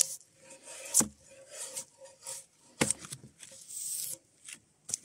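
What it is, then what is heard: Spruce log being stripped of bark. Gloved hands pull a draw knife along a solid softwood spruce log, scraping off the last strips of bark. The result is a series of bright, hissy scraping strokes punctuated by a couple of sharp, dry knocks, with short quiet gaps between passes.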